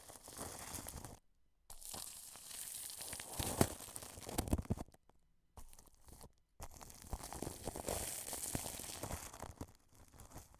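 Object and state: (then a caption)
Plastic cling film brushed over a microphone. A wide paintbrush sweeps across clear cling film stretched over a white dome microphone. It makes close, crinkly rustling and scratchy brushing strokes with a bright, hissy top and a low rumble. The strokes come in bursts broken by a few short silences.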